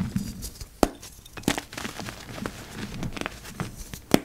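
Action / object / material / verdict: scrape / dyed gym chalk block / gym chalk / none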